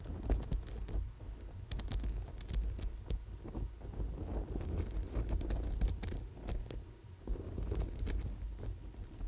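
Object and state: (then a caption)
Amethyst chip wire bracelet. A gold-wire coil bracelet covered in purple amethyst chips is held close to a microphone and scratched and tapped with long nails. The result is a steady patter of small clicks and scratchy rustles over a low, rumbling background.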